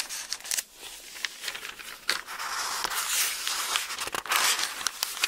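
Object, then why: Thin paper book pages. A hardback-sized bible with very thin printed pages is held open in both hands while fingertips grip and flip single pages over, rubbing the paper. Quick, crisp rustles and crinkles rise and fall over a steady bright hiss, with almost nothing in the low end.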